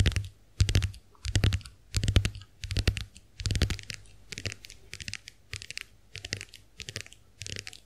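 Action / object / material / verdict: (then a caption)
tap / plastic compact hand mirror / plastic / none. Long acrylic nails tap rapidly on the dotted plastic backs of a small, round, white plastic clamshell hand mirror held open in both hands. The taps come in about a dozen quick clattering bursts, each a flurry of bright, dry clicks over a soft low thump. Every click stops almost instantly, with short quiet gaps between bursts.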